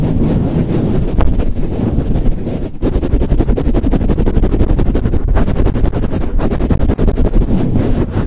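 Fingertips rapidly cup, squeeze and swirl a soft, hollow black foam windscreen fitted over a microphone, pumping it on and off the mic. The result is a loud, continuous, muffled rumble of deep, boomy thumps and rustles with almost nothing in the high range.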